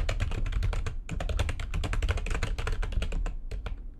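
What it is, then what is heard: Plastic computer keyboard being typed on. Long nails type rapidly on the keys of a backlit plastic computer keyboard, making a dense stream of short, bright clicks. The clicks sit over a steady low hum, with a brief pause about a second in before the fast typing resumes and thins out toward the end.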